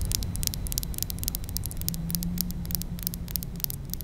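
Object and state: Glass perfume bottle.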